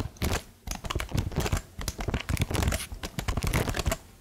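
Long nails tap the plastic keys of a plastic laptop keyboard held close, making a quick, irregular run of short, dry clicks and clacks. Each tap is crisp with a bassy, hollow thump underneath, spread across a little over four seconds.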